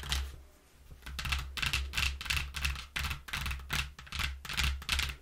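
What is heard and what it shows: Long nails tap quickly and scratch across the flat panels of a flattened brown corrugated cardboard box with a cut-out hole. Bursts of crisp, papery scraping come in uneven clusters, bright and hissy on top over a low, steady hum underneath.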